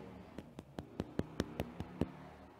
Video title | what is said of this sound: Quarantine Bakery Whole Wheat Sourdough Bread | that sound definitely sounds hollow, which is what we're looking for in a bread